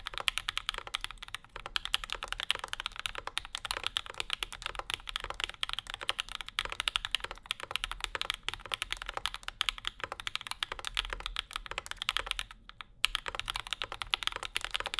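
A compact Bauer 2 mechanical keyboard with Zykos switches, an aluminum plate, a dark case and maroon and cream plastic keycaps sits on a desk mat with a wooden wrist rest, and both hands type on it continuously with their fingertips. The result is a steady stream of quick, bright, clacky keystrokes with almost no low end and no ring, pausing briefly near the 13-second mark before the typing resumes.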